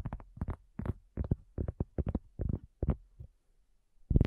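A round, flat, solid cork coaster about 20 cm across lies on a black table with a small recorder resting on its front edge, and it is tapped with the long nails and fingertips of both hands. About a dozen soft, dull, low taps come in quick clusters with almost no ring, followed by a brief pause and a louder tap at the end.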